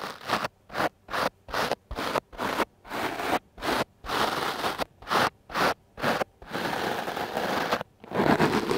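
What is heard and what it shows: The stiff black bristles of a wooden clothes brush are brushed and scratched across a soft, porous dark-blue foam microphone windscreen held in one hand. Quick, dry scratchy strokes repeat in a rapid, uneven rhythm with short silences between them. They then stretch into longer, continuous scrubbing toward the end.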